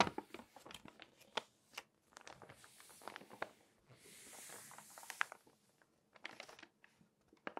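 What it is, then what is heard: Glossy paper magazine pages. Long nails turn, rub and scratch the thin glossy pages of an open glossy paper magazine. Quiet crinkling is broken by sharp, bright ticks and scratches, with two longer soft hissing rubs across the pages in between.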